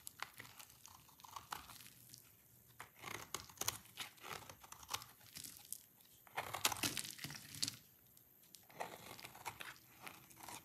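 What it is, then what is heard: Dry soap bar. A hand-sized, solid, dry yellow soap bar is held in the hand and scraped repeatedly with a utility-knife blade, with shavings piling up below. Quiet bursts of crisp, crunchy, crinkling scraping come in bright, short strokes with brief pauses between passes.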